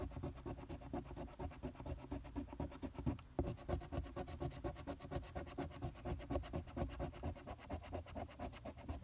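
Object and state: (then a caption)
Scratch-off ticket being scratched. A large silver coin scratches the latex coating off a flat paper lottery scratch-off ticket (#028) in fast, dense strokes. The result is a steady, rhythmic rasping scrape with a brief break partway through.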